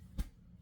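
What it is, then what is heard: Cake loose in bundt pan. A knock on a metal bundt pan holding an apple nut cake just baked for 90 minutes gives a single low, dull thump with almost no ring, checking that the cake has come loose. The thump shows the cake is loose in the pan and ready to turn out onto a cake plate.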